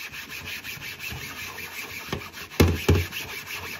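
A thin, flat, solid white plastic cutting board, wet with soapy water, is held upright over a sink by gloved hands and scrubbed with a yellow sponge. A steady, low, rasping rub is heard throughout, with three sharper bumps near the end, the last two loudest.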